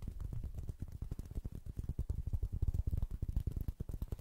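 A small, round, flat woven straw or rattan coaster is held beside the microphone and scratched and pattered with fingertips and nails. The result is a quiet, fast, uneven stream of soft, dull taps and rustling scratches, heavy in low thumpy tones with almost no brightness. Each tap dies away instantly with no ring.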